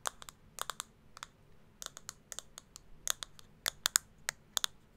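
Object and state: Plastic makeup compact.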